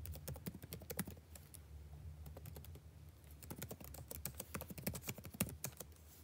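Fingertips type continuously on the blue-backlit plastic keycaps of a dark laptop, making rapid, crisp clicking taps that die away almost instantly. A steady low hum sits underneath, and the typing thins out briefly in the middle before picking up again in quicker bursts.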